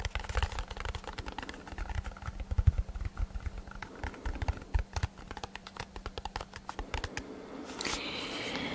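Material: Cardboard.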